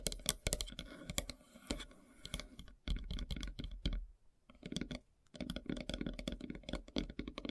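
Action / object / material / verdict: tap / wooden log slice board tapped with fingernails / wood / none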